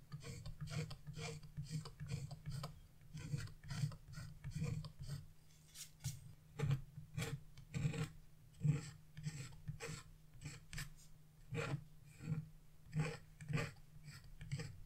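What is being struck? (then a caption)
Wax-coated scratch-art paper. A narrow carving chisel tip, held by a hand with blue-painted nails, scratches across a flat sheet of black wax-coated scratch-art paper resting on a wooden table. A rapid series of short, dry rasping strokes is heard, each with a low, thudding body and a bright, crackling scrape. The black coating flakes off as it is scratched.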